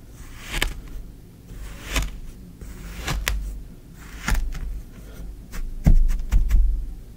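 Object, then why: Kinetic sand in a tray, worked with a small wooden stick. A small wooden spoon or stick is pushed and dragged through green kinetic sand filling a shallow tray, scraping and poking the sand. Soft, muffled scraping and crunching sit over a low, dominant rumble, broken by short, bright clicks and ticks as the tool presses and drags. The loudest pokes come near the end.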